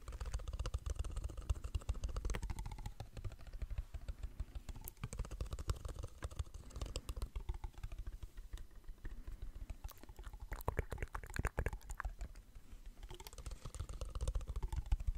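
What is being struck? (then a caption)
Plastic water bottle, partly full. A partly full, clear plastic water bottle is held in both hands while fingertips and nails tap it rapidly. The result is a dense stream of quick, dry clicks and taps over a soft, low, rumbling thud, with occasional brighter crackly bursts.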